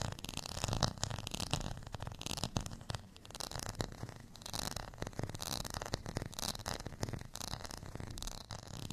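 Fingernails scratch across the textured face of a beige, ridged plastic rice paddle held in the hand. The result is a steady run of quick, dry, raspy scrapes with a bright crackly edge over a soft low rumble. Each scrape stops short with no ring.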